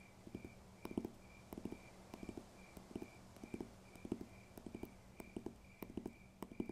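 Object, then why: Paper textbook. Fingers tap on a paper textbook in quick little bursts of two or three, giving soft, dull thuds that die away almost at once. The taps come in a steady, rhythmic pattern over a faint, constant high hum. The sound is quiet and close.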